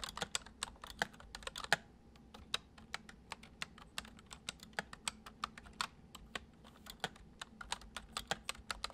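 Fingertips of both hands type on a full-size white plastic computer keyboard with keycaps resting on a wooden desk. About 40 short, dry, bright key clicks come in an uneven steady rhythm, each dying away almost instantly, over a faint low hum around 200 Hz.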